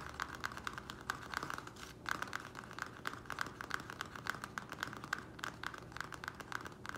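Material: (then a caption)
Plastic. Fingertips and nails of both hands tap quickly on the sides of a small square black plastic nursery pot, partly filled with soil, standing on a wooden table. The result is a continuous stream of short, dry, clicky plastic taps with no ring, centered around a bright tone near 1.5 kHz.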